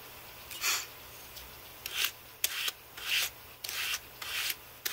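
A handheld carbon-fibre brush is swept across the key rows of a white Apple Magic Keyboard, which has a thin, hollow aluminium body and plastic keys. Six separate rubbing, scraping sweeps are heard as bright, hissy bursts with quiet gaps between them.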